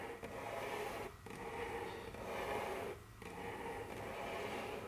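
Very long curved fingernails scratch and tap across a large, solid, dark brown glossy wooden tabletop. A steady, dense scraping texture centered in the low midrange runs throughout, with short lulls near one and three seconds where the strokes pause before resuming.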